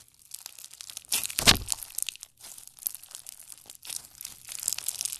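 Green clear slime with white pearls and blue plastic beads is pinched and squeezed with long nails and fingertips. It gives dense, bright crackling and crunching, like rapid small pops and crinkles, with very little low end. The loudest burst comes early, followed by quieter clusters of crackles.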